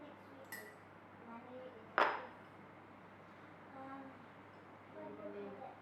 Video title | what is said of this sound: Slow Days With Me - House Reset, Kombucha Bottling & Easy Thai Boat Noodles | Can you hear how crispy it is after heating it up in the oven?